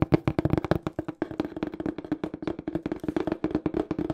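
Fingertips tap fast on the faces of a small, hollow, empty-looking brown cardboard shipping box with a black printed smile logo. About 28 quick, dry taps form a rapid, uneven patter, each with a hollow, boxy tone around 320 Hz that dies away almost instantly.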